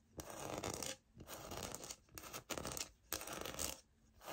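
Long nails tap and scratch the embossed grain of a light oak, solid-plank laminate wood-look floor sample. Bursts of bright, dry scratching and rubbing alternate with short quiet gaps, each burst fading quickly with almost no ring.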